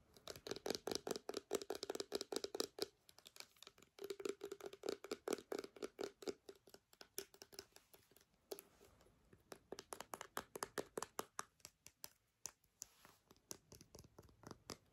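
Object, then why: Small plastic sanitizer bottle. A small clear plastic hand sanitizer bottle with a white flip cap, partly full of gel, is tapped and scratched with long nails. Rapid, crisp clicks come in bursts with brief pauses, and a hollow plastic tone around 465 Hz rings under the faster runs. Bright scratchy texture sits over the taps.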